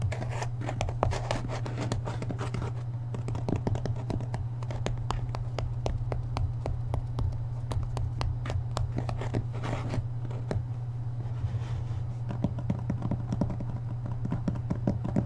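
Fingertips tap quickly along the top edge and spine of the paper dust jacket on a thick hardcover book standing upright. The result is a dense, steady run of short, dry, papery taps over a constant low hum.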